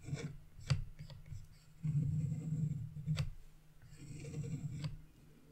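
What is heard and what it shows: A chisel scrapes the black wax coating off a scratch-art page to reveal a red area underneath, leaving coating crumbs on the page. Low, dry rasping and rubbing strokes come in two longer passes, broken by a few sharp, brief ticks as the blade catches the paper.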